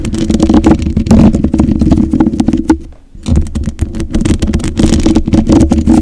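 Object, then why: Metal mesh microphone grille. Long white acrylic nails scratch and tap the bare black metal mesh grille of a large USB condenser microphone with a hollow head, using both hands. The close, dense scratching and rapid tapping sound boomy and low-heavy, with a tone near 320 Hz. The sound pauses briefly near the middle before resuming just as busily.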